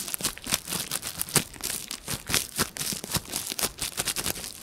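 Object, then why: Plastic bubble wrap. Clear plastic bubble wrap is crumpled and squeezed in both hands, close up. Dense, bright crinkling runs throughout, broken by sharp, quick crackles and small pops that die away almost instantly.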